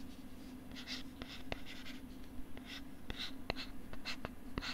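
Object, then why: Molded plastic writing tablet back. Fingers scratch and rub the molded plastic back of a pink plastic LCD writing tablet, held beside the mic with its back facing out. Soft, bright scratching swishes come in bursts, punctuated by sharp, dry clicks from the fingertips, over a steady low hum.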